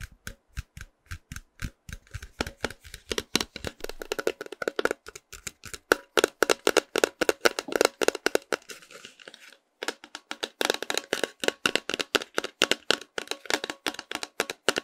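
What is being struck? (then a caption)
Cardboard snack tube. A tall, hollow, printed cardboard snack can held up in both hands is tapped with fingernails along its side. The result is a rapid, uneven run of short, dry, hollow clicks with no ring, pausing briefly near the ten-second mark before the tapping resumes.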